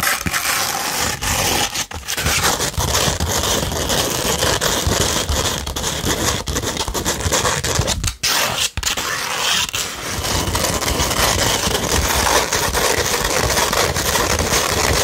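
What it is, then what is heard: Sandpaper sheet scratched with nails. A 100-grit sandpaper sheet, first rolled into a tube and then held flat, is scratched with long nails. The result is a steady, dense, gritty scraping rich in bright high frequencies, with only brief pauses around 2 and 8 to 9 seconds.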